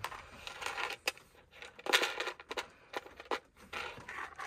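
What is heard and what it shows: A small, round, hollow plastic Ice Breakers mint tub, likely holding mints, is held in the hand and scratched and tapped with fingertips and nails. Bright, crinkly scratching alternates with sharp, clicky taps, with no low end and little ring after each hit.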